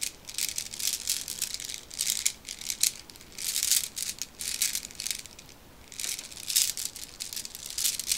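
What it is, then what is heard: Bag of small marbles shaken. A small clear plastic pack with a cardboard header card, filled with many black round decorative marbles, is held in one hand and shaken and squeezed with fingertips and long red nails. The beads rattle inside in bright, crisp bursts of clicking with almost no low end, separated by brief quieter pauses.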